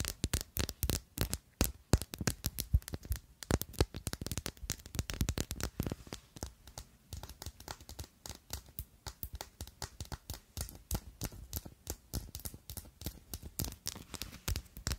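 Long nails rapidly tap and scratch the faces of a faceted, clear pink-tinted glass perfume bottle with a silver cap, partly full. The result is a dense run of short, dry clicks with very little ring, broken up by quieter scratching between the taps.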